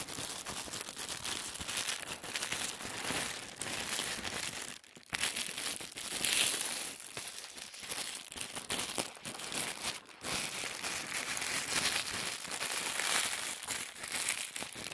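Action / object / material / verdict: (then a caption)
scrape / folded stack of thin tissue paper / paper / none. A folded stack of thin white tissue paper held in the hands is crinkled and folded by the fingertips. A steady, bright, papery crinkling runs throughout with little low end, dipping into brief near-silences around 5 and 10 seconds before the rustling resumes.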